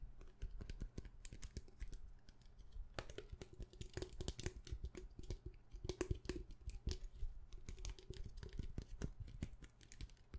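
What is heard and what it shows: A small hollow plastic hand sanitizer bottle with a white cap and printed label is held in the hand and tapped quickly with long painted nails. The result is a fast, continuous run of short, dry plastic clicks that die away almost instantly, over a low, steady background hum.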